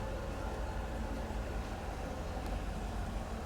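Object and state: Nothing is struck.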